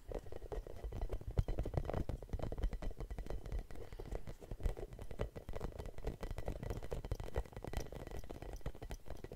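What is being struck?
Rubber spiky massage ball.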